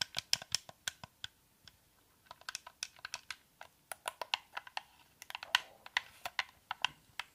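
A white, hand-sized, hollow plastic Xbox-style game controller is held in both hands while fingertips and nails press and tap its buttons, d-pad and thumbsticks. About thirty short, bright, dry clicks come in irregular bursts, with a brief lull near the two-second mark, each click dying away almost instantly with no low-end body.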